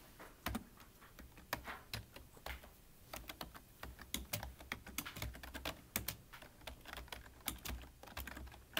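Both hands type with their fingertips on a full-size black plastic computer keyboard with a hollow body, producing a steady, irregular stream of quick key taps. Each tap is a short, dry click with a bright top and a faint hollow low thump, dying away almost instantly. A few harder strikes stand out above the quieter run of keystrokes.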